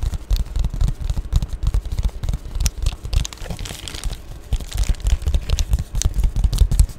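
Long painted nails scratch and tap the bubbly plastic surface of an Amazon Prime padded poly bubble mailer, close up. A dense run of short, dry scratches and crinkly taps comes through with heavy low thumping and thin, bright crackle on top. A brief softer stretch in the middle gives way to steady rapid tapping again.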